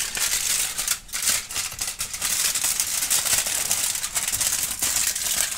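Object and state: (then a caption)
Aluminum foil sheet being crumpled. A crumpled sheet of thin aluminum foil is held and scrunched with both hands and fingertips while a kitten sniffs nearby. It gives off a dense, steady crinkling that is bright and crackly, with almost no low end, dipping only briefly now and then.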